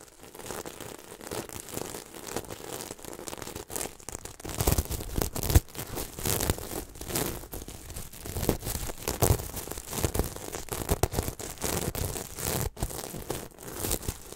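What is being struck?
Sequin-covered throw pillow.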